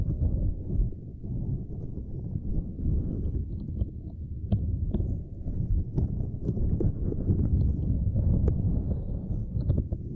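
Both hands scratch and tap a small, flat purple silicone grid mat with long nails. The result is a dense, muffled, low rustling and thudding with short, dull taps and occasional faint brighter clicks.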